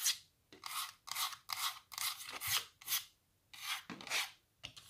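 Long nails scratch the white back of a small stretched canvas and its wooden stretcher bars. The result is a series of short, bright, raspy scraping strokes separated by brief pauses, with almost no low end.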